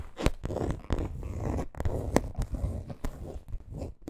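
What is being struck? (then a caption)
Coated canvas handbag. Long green acrylic nails scratch and tap the printed front panel of a small, hollow rainbow-monogram coated canvas crossbody bag with leather trim, lying on pink fur. Dry, low-heavy scratching is broken by sharp, brief taps that stand out above it.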